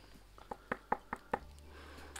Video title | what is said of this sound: 23. Part 2 of the roof repairs, good and bad news about the beams & visit an animal sanctuary. | ça sonne même creux